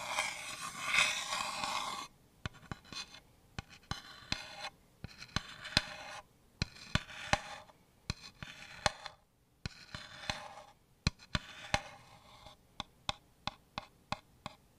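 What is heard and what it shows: Long nails scratch and tap the flat back panel of a small hollow wooden house-shaped shelf with a paper label, held upright, working directly on the bare wood. Bursts of bright, raspy scratching alternate with many sharp, dry taps that die away almost instantly.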